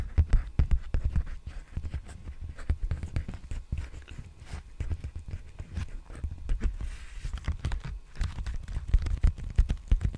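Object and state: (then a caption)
Plastic bubble mailer. An empty large black padded plastic bubble mailer with a creased surface is held upright and tapped and scratched with fingertips. The result is a steady run of soft, dull low thumps mixed with dry scratchy rustling, rising and falling in loudness over about ten seconds.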